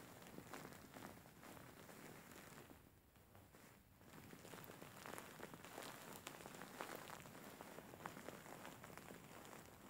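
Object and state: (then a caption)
Faux fur pillow. Fingers and nails scratch and rub the fur of a large, soft, grey faux fur pillow with soft filling. The result is a quiet, dense, crackling scratch that rustles across the whole range with small bright ticks, easing briefly into a softer stretch before it picks back up.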